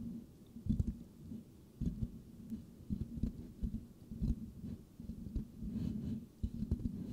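Fingertips of both hands lightly scratch the rounded, hollow metal mesh grille of a white microphone. It makes soft, muffled, low scratching and rubbing bursts with brief thumps, rising and falling over a steady low hum with almost no bright content.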